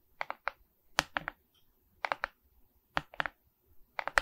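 Long red nails tap and scratch the resin-bead face of a medium Mickey Mouse diamond painting on a framed wooden canvas board held upright. About 14 quick, dry, bright clicks come in small clusters of two or three with brief pauses between. Each click stops almost at once, with no ring.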